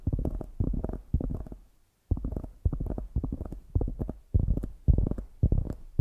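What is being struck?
Polyurethane foam squishy donut.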